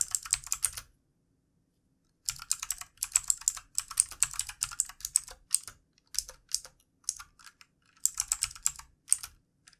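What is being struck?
Plastic computer keyboard.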